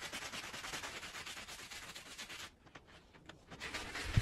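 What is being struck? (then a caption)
Woven fabric rug scrubbed with a plastic bristle brush. A handheld plastic bristle brush scrubs in circles across a very dirty small woven fabric rug lying flat on a plastic sheet, soaked and covered in soapy foam. A steady, bright, wet rasping fills the first two and a half seconds, drops to faint scattered strokes, then picks up again. It ends with a dull low thump near the close.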